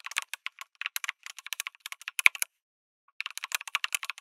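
Fingertips type on a backlit mechanical keyboard with a white case and red and grey plastic keycaps. A quick run of bright, sharp clacks with no low end stops for about half a second, then resumes. Each keystroke dies away almost instantly.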